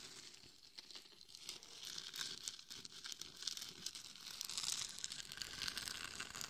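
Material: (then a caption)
Glitter, plastic. Long nails scratch the top, forehead and sides of a hollow, glitter-covered mannequin head microphone, producing a dense, bright, crinkly scraping with rapid gritty clicks. The scratching stays quiet and close, growing slightly louder and busier in the second half.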